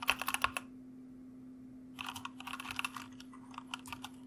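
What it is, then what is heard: Plastic mechanical keyboard. Fingertips of both hands type on a white mechanical computer keyboard with plastic keycaps, producing crisp, bright clacks. A quick burst of keystrokes is followed by a pause of about a second and a half, then a longer, uneven run of lighter typing. A faint steady low hum runs underneath throughout.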